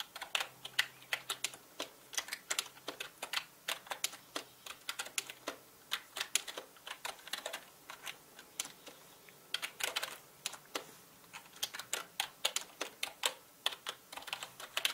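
Fingertips of both hands type on a full-size black plastic mechanical gaming keyboard with plastic keycaps. Bursts of short, bright clicks come in quick runs with brief pauses between them. Each click is crisp and dies away almost at once, with no low end.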